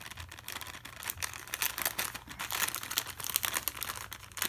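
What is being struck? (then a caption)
Sealed plastic noodle packet. A pen tip scratches over a small, sealed, full plastic Maggi instant noodle packet held in one hand. The sound is a continuous bright, crinkly scratching with rapid irregular rustles and crackles, mostly high-pitched and with almost no low end.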